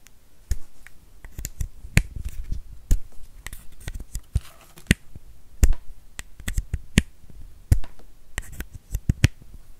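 A small, solid white plastic USB power adapter with metal prongs is tapped and clicked with fingernails. About twenty short, dry clicks ring out in an irregular rhythm, each with a sharp bright edge over a soft low thump, separated by faint scratchy handling noise.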